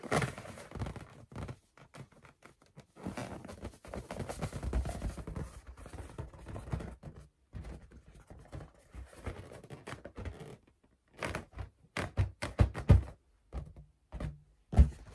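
A large, pale blue latex balloon, inflated and hollow, is held up in both hands and tapped with long acrylic nails and fingertips. Irregular bursts of soft, dull thumps and scratchy clicks come in clusters with short pauses, mostly low and muffled, each tap dying away almost at once.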